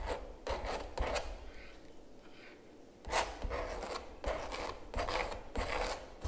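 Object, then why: Palette knife on stretched canvas print. A palette knife repeatedly scrapes and rubs texture gel across a large stretched canvas giclee print lying flat. The strokes make raspy, broadband scraping bursts with bright hiss, separated by a quieter smearing stretch in the middle. Each stroke ends with a short, dry stop.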